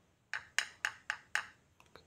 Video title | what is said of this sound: BILED MATRIX X1 ICC - WAJIB NONTON SEBELUM BELI.. - Output cahayanya gokil banget.. | ketika diketuk oleh obeng ini suaranya tidak nyaring ya Jadi ini berbahan plastik